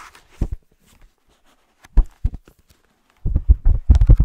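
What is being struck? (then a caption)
Paper page block of a hardcover book. Short nails scratch the paper page-block edges of a thick green hardcover book held on its side, making soft, dull scratching strokes. A few scattered scrapes come first, then a faster, denser flurry of rough scratches builds toward the end.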